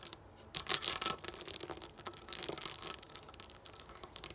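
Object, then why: Plastic dot sticker sheet. Long nails tap and scratch a sheet of raised plastic pop-up dot stickers lying on a table. Bright, crisp clicks and dry scratching rustle in quick, uneven bursts, with almost no low end. A louder cluster of taps comes near the start before settling into steady, softer scratching.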